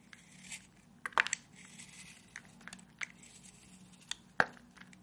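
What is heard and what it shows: A small metal blade carves and scrapes grooves into a solid, hand-sized rectangular bar of dry white soap held in one hand, shaving off crumbly flakes. Quiet, dry crunching and crinkly scraping are broken by short, sharp, bright ticks that stop almost instantly. The loudest bursts come around the middle and near the end of the clip.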